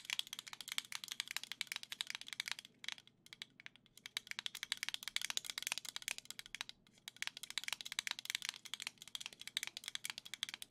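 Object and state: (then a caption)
Plastic controller grip, nail tapping and scratching. Long nails rapidly tap and scratch a hollow black plastic Joy-Con grip held in the hands, making dense, bright, dry clicks and scrapes with almost no ring. The rapid clicking runs nearly continuously, with brief pauses around 3 and 7 seconds.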